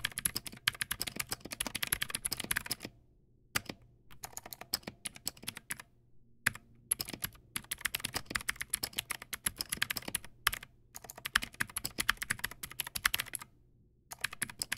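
Fast fingertip typing on a Teamwolf Zhuque+ X08 backlit mechanical keyboard with white plastic keycaps and clicky blue switches produces dense bursts of sharp, bright clicks. Brief pauses of near silence break up the typing, and each keystroke dies away almost instantly.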